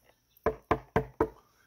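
Four sharp knocks on a HYPR UnObtanium Gen 2 carbon fiber prone paddleboard, 12'0" x 20.5" x 8.6" and 208 L, each decaying quickly with a bright, metallic twang rather than a dull thud. The board sounds stiff and solid because it is so stiff and strong.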